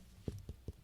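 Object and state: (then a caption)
Dull-sounding lower chest (fluid in lung). Three short, dull, low-pitched thuds from a finger tapping on the lower part of a human chest, each dying away almost instantly with no ring. This dull note, unlike the hollow sound higher up, is used to track the level of blood filling a crash victim's lungs, marking fluid rather than air.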